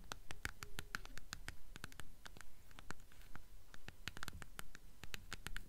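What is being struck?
Hardcover book with paper dust jacket.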